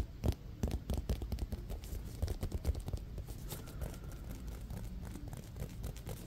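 A small, solid navy-blue leather baseball with white raised stitching is held in one hand and tapped and scratched with the fingertips. Soft, dull, low-pitched taps come in quick irregular bursts over a faint scratchy rustle, each tap dying away almost instantly.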